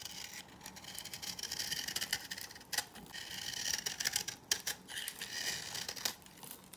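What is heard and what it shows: A knife scrapes and cuts crisp shavings from the dry surface of an old, solid cream-yellow bar soap held in the hand. A rapid run of dry, bright scraping crackles and short crunchy snaps comes through, almost entirely high-pitched with very little low end. Each scrape stops almost instantly.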